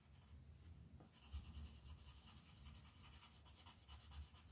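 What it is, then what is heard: Colored pencil shading on a paper page. A red colored pencil shades letters on a flat paper coloring book page with quick rubbing strokes. The sound is a soft, repetitive scratchy rasp with bright hiss over a low, muffled rumble, and the strokes become steadier and brighter after the first second.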